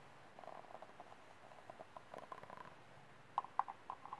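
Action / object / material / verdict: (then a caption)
tap / thin disposable plastic cup / plastic / none. Fingertips and short manicured nails tap the sides and base of a small, empty, disposable white plastic cup with ribbed sides, held in both hands and turned so its bottom faces outward. The result is a quick series of soft, hollow, mid-pitched clicks that die away instantly, with the sharpest, loudest taps coming near the end.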